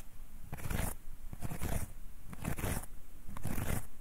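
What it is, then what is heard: Folded wooden and paper hand fan. Fingertips and nails rub and scratch along the wooden guard of a closed folding hand fan with wooden ribs and red paper, held upright. The sound comes in regular, dry scratchy strokes with a soft low rustle and a bright, fine-grained edge.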